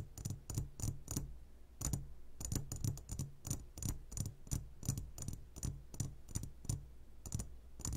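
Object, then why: Glass jar of gummy candies. Fingertips of both hands tap the sides of a clear glass jar full of gummy candies in a quick, uneven run. Each tap is a short, bright click with a dull low thump beneath it. The taps die away almost at once over a steady low hum.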